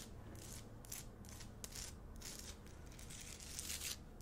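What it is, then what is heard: Himalayan salt lamp. A large, solid pink Himalayan rock-salt lamp on a wooden base is held close and scratched and tapped with long acrylic nails. Repeated bright, crisp scraping bursts sit over a soft low hum, with short taps mixed in.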